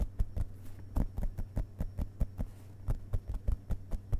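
Fingertips of both hands tap rapidly on the printed paper pages of an open hardcover book lying on carpet. About seventeen soft, dull taps land in quick succession, each short and thumping, over a steady low hum.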